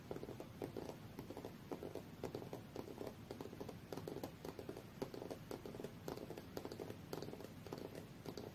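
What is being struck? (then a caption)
Aluminium tablet back casing. Fingernails of both hands tap on the aluminium back casing of a rose-gold tablet lying face-down on a fur rug. The result is a quiet, steady patter of short, dry, mid-pitched clicks, with almost no ring after each tap.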